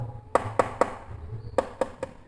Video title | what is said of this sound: REVIEW Mikroskop YCS 6575X | coba kita ketuk dan ini ternyata plastik